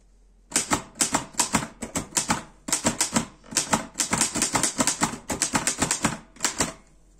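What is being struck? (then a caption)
Metal portable typewriter. Fingertips type on the keys of a black metal Erika 5 portable typewriter, producing about 32 sharp, bright keystroke clacks in quick bursts with a brief pause near the middle. Each strike is crisp and dies away almost instantly, with a faint low-mid body under the high metallic snap.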